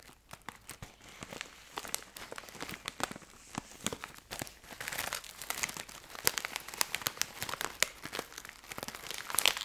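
A medium-sized plastic foil snack bag of Thai Rings, filled with snacks, is held up and crinkled and scratched with fingertips and painted nails. Dense, bright crinkling and crackling snaps run throughout, each dying away almost at once, with very little low end.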